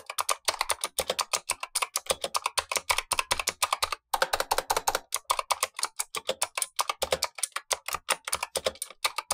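Blue-gloved fingertips type steadily on a Razer Huntsman V2 mechanical keyboard with black plastic keycaps and clicky switches, the lower of two keyboards, while the upper one stays untouched. A rapid run of sharp, bright, very short clicks with a mid-range body and almost no low end breaks briefly near the four-second mark before continuing.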